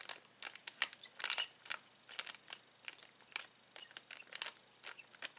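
Fingers press, squeeze and crinkle a clear plastic bag full of uninflated latex balloons. The result is a quick run of dry, bright crackles and rustles, each one short and sharp with almost no low end.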